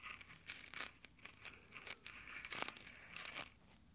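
Fingertips in textured nylon exfoliating gloves scratch and rub directly over the metal mic grille of a handheld Tascam recorder. The result is a quiet run of crunchy, crinkling fabric friction in short, bright, dry bursts with almost no low end.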